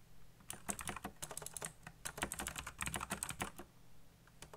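Fingertips fast-type on a black backlit mechanical computer keyboard with plastic keycaps, producing a rapid run of about 26 sharp, short clicks and clacks. Each keystroke has a bright attack over a low thud, and the clicks cluster into quick bursts with brief pauses.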